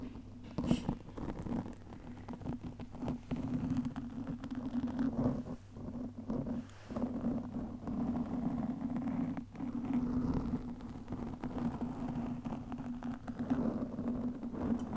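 Long fingernails scratch and rub a black microphone windscreen made of soft porous foam, first with one hand and then with both. The result is a steady, close, muffled scratching and rustling with a constant low hum underneath and very little high content. Brief louder scrapes and short dips break up the texture.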